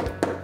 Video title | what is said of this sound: Rénovation des volets en bois | Ça sonne trop. C'est un peu pourri déjà.